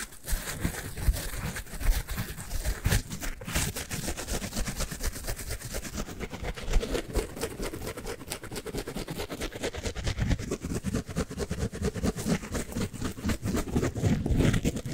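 A yellowish porous synthetic foam sponge is held in one hand and scratched and rubbed with the fingertips of the other hand. The result is a dense, continuous crackle of soft scratchy rustling with a heavy low-end thump and scattered brighter crisp ticks, holding steady for the whole clip and growing slightly louder near the end.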